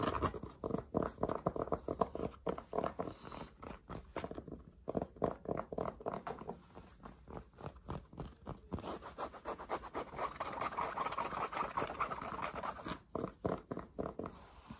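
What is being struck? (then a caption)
Fabric baseball cap with stiff brim. Fingertips and nails rapidly scratch and tap the crown and stiff, stickered brim of a black New Era LA fitted fabric cap worn on the head. The taps and scrapes come fast and unevenly, each dry and short with almost no ring. The sound is a busy, mid-pitched rustling patter with little deep or bright content.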